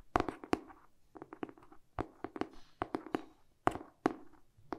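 Short painted fingernails tap quickly on the glossy cardboard cover of a solid, medium-sized hardcover paper book tilted in the hands. Crisp, dry clicks with a hollow mid-range tone around 720 Hz come in rapid uneven bursts of about 18 taps, each dying away almost instantly.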